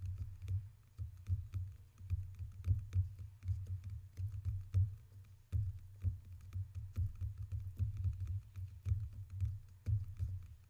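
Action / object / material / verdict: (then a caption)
tap / two water cups / unknown / none. Two water cups are tapped in quick, irregular runs of short, dry taps that die away almost instantly. A steady low hum sits underneath the whole clip.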